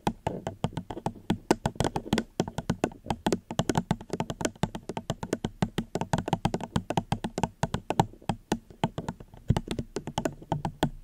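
Fingertips gently tap on a plastic cup held close to a microphone, producing a rapid, continuous stream of soft, short taps. Each tap is dull and hollow with a low body and a faint bright click, dying away almost instantly with no ring.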